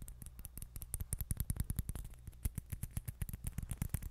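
A small, hollow orange celluloid or plastic ping pong ball is held in the fingers and tapped and scratched with long nails. A quick, uneven stream of soft, dry clicks and scratches follows, each with a dull low thump and a brief bright tick that dies away at once.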